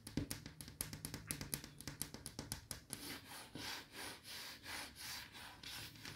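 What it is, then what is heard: Wooden wardrobe door. Long yellow nails scratch and rub the flat wood-veneer panel and edge of a large wooden wardrobe door beside a mirror. The first half is a quick run of sharp, bright scratching ticks, which give way to slower, swelling rubbing strokes with a soft, hissy texture.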